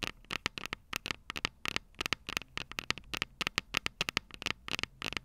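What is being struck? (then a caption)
Small metal microphone capsules on a handheld recorder. Long purple nails tap on the small, hollow, silver metal microphone capsules of a Tascam DR-05 recorder. About 29 quick, irregular taps come through as sharp, dry, bright clicks with a ringing tone near 2.7 kHz, very little low end, and almost no decay between them.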